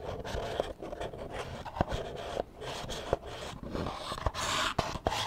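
Extra long acrylic nails tap and scratch the spine and page edges of a small, solid book with paper pages, held upright near the mic. Sharp clicking taps punctuate a steady, dry, papery scratching with a midrange tone.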